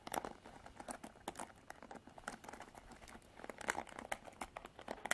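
Long nails scratch and flick the black plastic bristles of an upright Revlon plastic paddle hairbrush. The result is a quiet, rapid patter of dry, crinkly clicks and scrapes, centered in the mids with bright ticks, almost no low end, and no ring after each flick.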